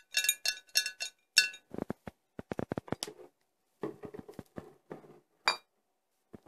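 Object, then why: Glass bottles. Four glass bottles are tapped one after another. A run of bright, ringing clinks gives way to quicker, duller knocks with more low body, and one last sharp, bright clink rings out near the end.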